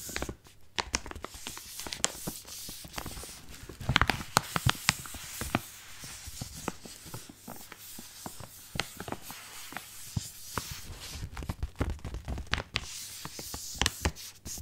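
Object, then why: Flexible plastic foil bag of coffee pads. A medium-sized Senseo cappuccino coffee pad bag of flexible, soft-walled plastic foil, full of pads, is held in both hands and squeezed, rubbed and crinkled with the fingertips close to the microphone. The result is a steady run of sharp, bright crackles and crinkles over a soft rustling bed, with occasional louder snaps.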